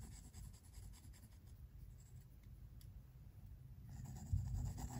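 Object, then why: Pencil graphite on sketchbook paper. A pink mechanical pencil scratches and shades the white paper of a spiral-bound sketchbook resting on a wooden table, using short, repeated strokes. The soft, dry scratching is mostly low and muffled, with faint high hiss, and grows a little louder and denser toward the end.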